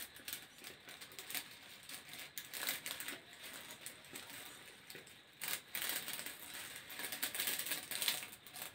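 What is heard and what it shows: Fingertips scratch the ribbed surface of a hollow grey corrugated plastic hose. The result is a quiet, bright, crackly rasping, mostly high in pitch, in quick uneven bursts that rise and fade with little low end.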